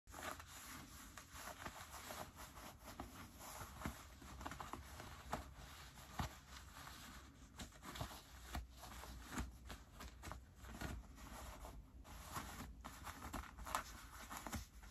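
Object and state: Denim jeans pocket linings being rubbed.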